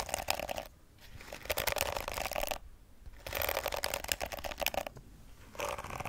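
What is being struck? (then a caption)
Plastic hairbrush bristles. Long acrylic nails scratch across the rows of flexible plastic bristles on a pink plastic detangling brush held beside the mic. Bursts of dense, crackly scratching come in waves with short quieter gaps between them.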